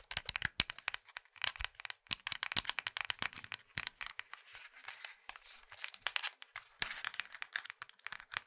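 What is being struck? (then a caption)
Plastic mobile phone casing and keys. A small, hollow plastic Nokia mobile phone is gripped in both hands while fingertips and thumbs squeeze, twist and click its casing and keys. The result is a quiet, dense stream of quick, dry, bright clicks and crinkly crackles with almost no low end. Each snap is sharp and dies away immediately.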